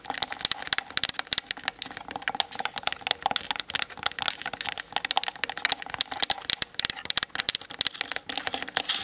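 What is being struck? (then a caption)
Plastic DSLR camera body and lens barrel. Long acrylic nails tap rapidly on the top and sides of a Canon DSLR's hard plastic body around the lens barrel, with the camera mounted on a tripod and seen in a mirror. A dense stream of sharp, dry clicks runs throughout, bright and clattering like fast typing, centered around 3.7 kHz with almost no low end. Each tap dies away instantly.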